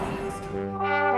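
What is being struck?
Nothing is struck.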